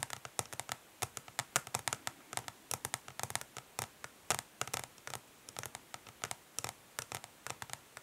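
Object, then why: Plastic makeup palette case. Long fingernails on both hands tap quickly on the upside-down underside of a flat plastic eyeshadow palette, its dark translucent ridged plastic facing up over the hollow case. The result is dozens of sharp, bright, clicky taps with almost no ring, quiet overall and light in the low end.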